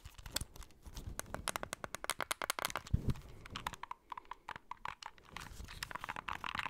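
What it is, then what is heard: Plastic handheld game console. Fingertips and nails tap and click the d-pad, buttons and back shell of a small, hollow white plastic handheld game console held in both hands. The result is a quick, uneven run of short, dry clicks with a low hollow knock beneath them. The taps turn lighter and brighter toward the end.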